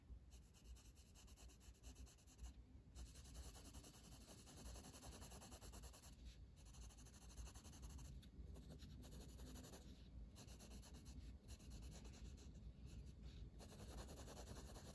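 A blue wooden colored pencil, held in the fingers, shades a flat paper page of a coloring book resting on a table. The pencil lead makes a steady, soft rubbing and scratching sound with many quick strokes. A few brief pauses interrupt the strokes.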